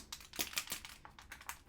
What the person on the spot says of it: most of them have a little ball in there